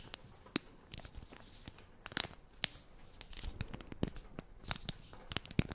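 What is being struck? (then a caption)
Plastic film wipes packet. Long nails scratch and crinkle the film of a small, flat plastic wipes packet with a green logo, held close to the microphone. Sharp, bright crinkles and crackles pop out irregularly over a soft, steady rustling bed, each dying away almost instantly. The result is a dry, close-up plastic crackle with no ringing.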